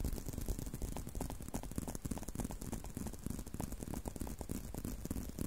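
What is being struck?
Leather belt strap.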